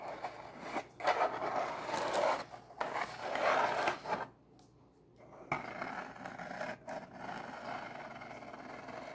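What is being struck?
Corrugated cardboard box.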